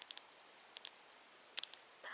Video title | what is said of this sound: ASMR Makeup Sounds with Plastic Tapping! Quiet Video for Relaxation and Help with Sleeping | packaging makes quite a nice plastic sound